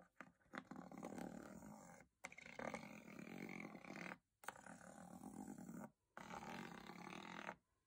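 A small bristle spoolie brush scrapes across the diamond-textured aluminium lid of a hollow metal box. Four long, dense, raspy scraping passes are heard, each separated by a brief silence, with a coarse, growl-like texture centered in the midrange.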